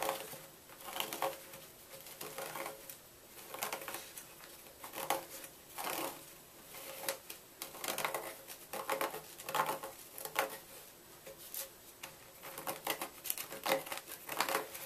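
A small knife tip scratches and carves a hollow into the top of a solid white gym chalk block, which rests in a pile of chalk flakes and is steadied by one hand. Short, dry, gritty scraping bursts come at an uneven pace, with a bright, crumbly texture and almost no low end.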